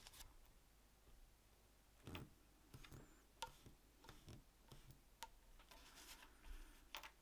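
An orange plastic spreader scrapes and spreads glue along the edges of a thin, flat piece of tan leather, rough flesh side up, held down by fingers. Quiet, dry scraping strokes are broken by short, sharp ticks and clicks with bright edges and almost no ring, over a faint low background.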